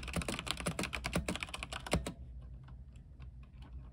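Fingertips type at a moderate pace on an RGB mechanical keyboard with white plastic keycaps on a silver aluminium frame. About eleven sharp, bright clacks come in the first two seconds over a steady low hum. The typing then drops to faint, soft taps for the rest of the clip.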